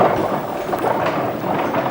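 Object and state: Nothing is struck.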